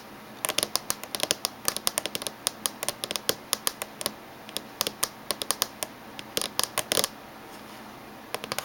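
Fingernails tap on the top edge of a closed silver laptop in quick, irregular bursts with short pauses. Each tap is a sharp, bright click that dies away almost instantly, with almost no low end beneath it.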